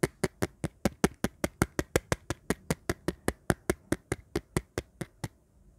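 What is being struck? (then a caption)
Empty hard-plastic phone bumper case tapped with fingernails. Long painted nails tap and scratch along the edge and rim of an empty, dark, hollow hard-plastic phone bumper case with button cutouts, held in the hand. The result is 27 crisp, dry, hollow clicks in a steady, quick rhythm, each with a low body and a very short decay. Faint scratchy texture fills the gaps between the taps.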